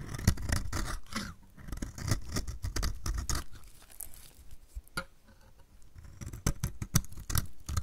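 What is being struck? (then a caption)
Bar of soap cut with a metal blade. A metal utility blade shaves flakes off the edge of a solid, dry purple striped bar of soap held in the hand. It makes a rapid series of short, crisp scraping cuts with brief, dry attacks and a dull low body, with quieter pauses between bursts.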